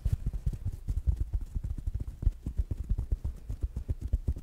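A small rounded black smart speaker with a fabric mesh cover is tapped quickly with fingertips and nails. About two dozen soft, dull thumps come in an uneven run, deep and muffled with almost no brightness. Each tap stops at once with no ring.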